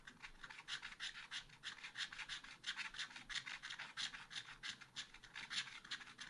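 A wooden stylus rubs back and forth across a small black-coated scratch art paper card, filling in a chick shape. Quiet, bright, raspy scratching comes in short strokes at about three per second in a slightly uneven rhythm. The sound is mostly high-pitched with almost no low end.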